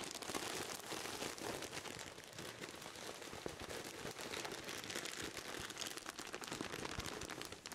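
A pillow in a clear plastic bag is hugged, then held in both hands between the microphones while the hands squeeze and rub the wrap. The result is a dense, continuous crackling crinkle, bright and papery, with little low end and a steady level throughout.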